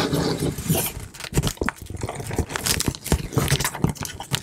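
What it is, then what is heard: Cardboard box tapped and scratched. Fingertips and long nails tap and scratch the front panel of a large, closed, hollow corrugated cardboard shipping box sealed with clear tape. Soft, hollow, low thuds mix with bright, dry scratching and scraping strokes in a steady, irregular run of taps.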